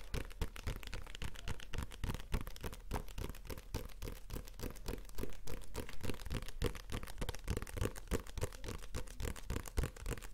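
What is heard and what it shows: A small, solid paperback comic book with a glossy card cover is held in the hand and tapped rapidly with the fingertips. The result is a steady stream of quick, dull, low thuds that die away almost instantly, with a faint papery rustle above them.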